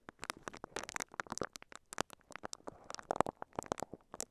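A microphone covered in clear, crinkly plastic wrap is brushed and scratched with the bristles of a pink silicone scalp massager held in both hands. The result is a quiet, rapid stream of short, sharp crinkling crackles with bright, hissy edges, and each snap dies away almost instantly.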